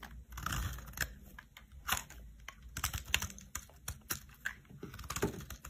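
A metal knife cuts crunchy flakes from the edge of a solid cream soap block. Quick, dry crunching and crisp clicks sound in irregular bursts, with bright crackle over a soft low rumble. Each snap dies away almost instantly.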